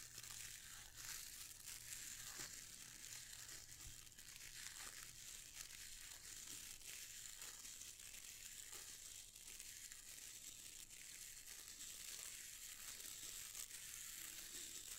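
Fingertips and nails scratch and rub across the dense dark bristles of a handheld boar bristle hair brush with a wooden handle. The result is a steady, quiet, bright crinkling scratch with almost no low end, carrying faint rustling textures throughout.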